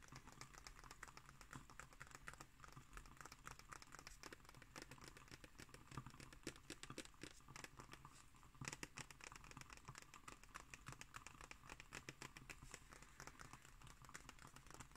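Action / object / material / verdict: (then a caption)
scrape / glossy paper book pages / paper / none. A fingertip and nail scratch along the glossy paper pages of an open illustrated book lying on a table. The result is a quiet, steady stream of dry, crinkly scratching with many tiny rapid clicks, running continuously for the whole clip.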